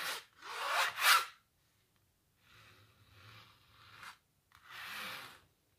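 Long natural nails scratch over the thick impasto paint of a large, textured painted canvas. Three quick, louder scrapes come first, followed by a quieter, longer drag and one more stroke. Each makes a dry, bright, rasping sound.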